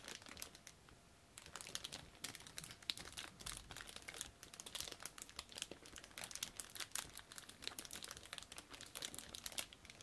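A clear plastic bag holding a flat, hand-sized orange plastic parts sprue from a Tamiya Mini 4WD Panda Edition kit is held in both latex-gloved hands, then crinkled, squeezed and flexed with the fingertips. The result is a quiet, steady stream of dense, bright crackles and crinkles with almost no low end, each crackle stopping instantly.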